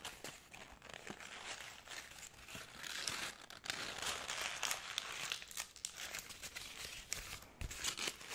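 A thin, already wrinkled white paper sheet is held in both hands in front of the microphone and crumpled and squeezed with the fingers. It gives a dense, continuous stream of bright, crackly crinkling with irregular sharp snaps and almost no low end.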